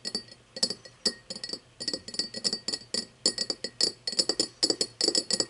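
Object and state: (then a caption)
Cut crystal glass tumbler. An empty cut-crystal glass tumbler, first standing upright and then turned with its mouth toward the camera, is tapped with long nails. About 26 quick, bright clinks come in irregular bursts, each with a sharp high-pitched ping and very short ring.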